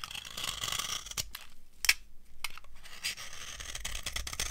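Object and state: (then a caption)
Dry soap bar. A metal knife carves a solid, dry, old yellow soap bar, making close, crunchy scraping and shaving sounds. The sound is mostly bright and hissy with a faint low rumble. Short crisp snaps stand out, the sharpest just before the two-second mark, followed by a brief near-silent pause before the carving resumes.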